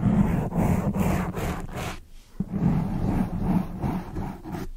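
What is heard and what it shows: Long acrylic nails scratch and rub the surface of a black foam microphone windscreen. The result is a dense, muffled, low rumbling scrape that dips briefly near the middle and then resumes.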